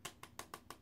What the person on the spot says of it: it sounds plastic but it's really cute